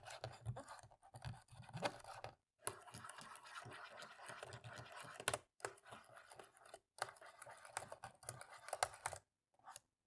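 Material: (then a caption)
Plastic. A cotton swab rubs and scratches the gaps between the black plastic keys on the left side of a plastic laptop keyboard. The sound is a quiet, dry, scratchy rubbing that comes in short bursts broken by brief silences, with faint clicks along the way.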